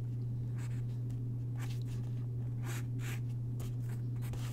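A graphite pencil sketches on a single white paper sheet lying on a wooden desk, its tip scratching across the paper in short, bright, breathy strokes. The strokes sit over a steady low hum that dominates throughout, and the overall level is quiet.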